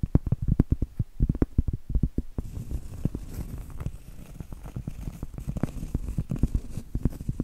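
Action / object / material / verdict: tap / cork trivet / cork / none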